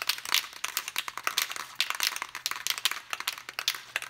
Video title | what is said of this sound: EXP-style Guitar Kit Assembly Manual | once you hear the rattle of the ball you just generally shake it up for a minute